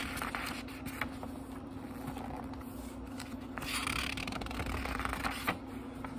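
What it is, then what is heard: Paper book pages being turned. Fingertips lift and turn the thin paper pages of a small, thick book one by one, producing soft rustles and crisp, bright flicks. A faint, steady low hum sits underneath throughout.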